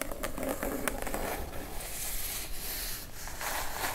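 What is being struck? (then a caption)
Closed kraft cardboard box. A plain brown kraft cardboard box, medium-sized, hollow and closed, lies flat and is then lifted upright while long acrylic nails tap and scratch its surface and top edge. Brief hollow taps stand out over a continuous papery scratching, with a low rumble underneath.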